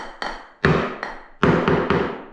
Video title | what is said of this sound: That's how it got dobbed back in the day but nothing was done properly 😝😝 | I did find a part that was drummy beside the toilet